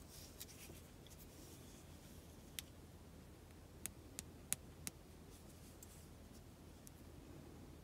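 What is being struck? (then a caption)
Solid bar of soap tapped and scratched with long fingernails. An unwrapped, hand-sized rectangular bar of pale pink solid soap is held in both hands and tapped and scratched with long acrylic nails. Quiet, soft scratching runs throughout over a low steady hum, while five sharp, bright clicks stand out between about 2.5 and 5 seconds. Each click dies away almost at once.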